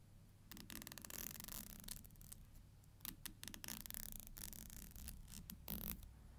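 A thin, solid black plastic hair comb has its teeth flicked and scratched by long nails. Bursts of bright, crackling clicks and raspy scrapes come in quick clusters over a low, steady hum.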